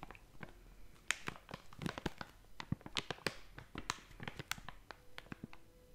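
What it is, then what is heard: Crinkling plastic snack bag. A blue and yellow crinkly plastic/foil snack bag, hollow and apparently filled, is held and squeezed with fingertips and long nails. It gives off a dense run of sharp, bright crackles and crinkles in quick, uneven bursts, each snapping off almost instantly. Faint low hums sound briefly near the end.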